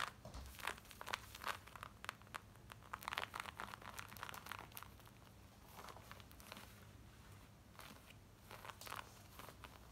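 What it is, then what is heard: Denim jeans being scratched. Long nails scratch quickly over worn black denim jeans, moving across the front pocket, waistband and back. Rapid, dry, bright rasping strokes come in dense bursts over a low steady hum, with a busier stretch early on and lighter scratching toward the end.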